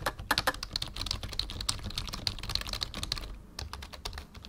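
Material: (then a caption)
Plastic. Fingertips type on the letter and arrow keys of a black full-size plastic membrane keyboard resting on a wooden desk. A rapid run of short, dry, bright clicks with a soft low thud under each keystroke, briefly pausing near the end before the typing resumes.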